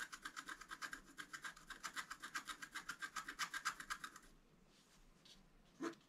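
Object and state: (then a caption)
Scratch art card being scratched. A wooden scratch stylus held in the fingers scrapes the coating of a flat, black-coated scratch art card with a deer and flower design, lying on a table while the other hand holds the card. It makes a fast, steady run of bright, raspy strokes for about four seconds. A brief quiet pause follows, then one last short scratch.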